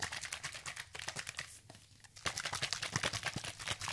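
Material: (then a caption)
Plastic. A medium, hollow orange plastic spray bottle with liquid inside is shaken quickly by hand close up, with fingernails against the bottle. This makes a dense run of bright, crisp tapping and sloshing clicks. The sound briefly drops to a quieter lull in the middle, then returns louder and busier.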